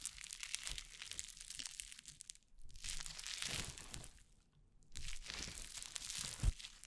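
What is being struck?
Foam-bead slime squeezed in the hands.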